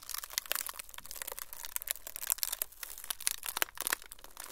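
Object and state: Frosted plastic sheet.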